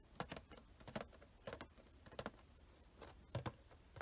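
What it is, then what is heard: Cardboard toy box with plastic window. A small cardboard Funko Pop box with a plastic window is held in one hand and tapped with fingertips and nails, first on the printed back and then on the windowed front with the figure inside. The result is quick, light, dry taps in short pairs and clusters, with low thuddy knocks and no ring.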